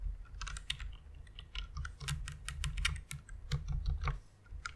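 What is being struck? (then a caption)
Plastic mechanical keyboard. Long painted nails and fingertips type and tap on a white full-size plastic mechanical keyboard with an RGB backlight and a hollow case, resting on a pink fluffy pad. Rapid, short, bright clicks and clacks come in an uneven stream over a steady low hum.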